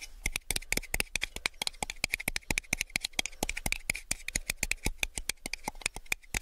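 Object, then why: Small clear plastic cup. A small, empty, hollow clear plastic cup is turned in both hands while fingertips and nails tap its wall and rim. The result is a fast, uneven stream of dry, bright clicks, each with a short hollow plastic tone near 2 kHz that dies away almost instantly.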